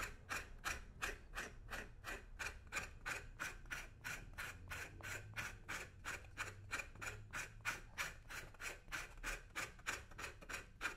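A thin metal scraper blade is dragged in short, repeated strokes across the toe of a brown leather boot (right foot) resting on a shoe-shine stand, scraping off old polish. About 36 quick, raspy scrapes come in a steady rhythm, each a bright, gritty rasp that stops almost at once.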